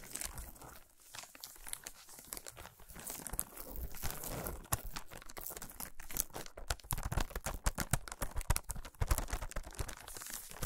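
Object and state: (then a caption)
Foil-wrapped chocolate bar. Fingernails tap and scratch a solid chocolate bar wrapped in shiny aluminum foil, resting on a towel. Crinkly foil scratching gives way to quick, close tapping that grows sharper and more clustered toward the end, with short, dry, crackling contacts.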